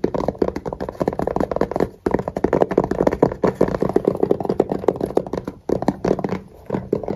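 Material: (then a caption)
Fabric, plastic. Fingertips and nails rapidly tap and scratch a small, hollow black hard-shell zip case with a fabric cover and red zipper trim. The result is a dense run of quick, dry, hollow-sounding taps with a muted midrange tone and soft scratching between them, with brief pauses near 2 and 5.7 seconds.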